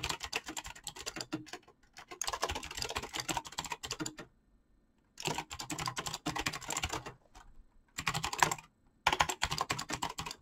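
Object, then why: Mechanical keyboard with plastic keycaps. Fingertips type rapidly on a full-size backlit mechanical keyboard with PBT plastic keycaps, producing fast bursts of crisp, bright clicks separated by short pauses. Each keystroke is short and dry, with little low-end thump and some mid-range body in the clatter.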